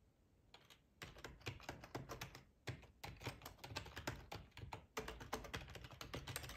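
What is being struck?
Plastic computer keyboard.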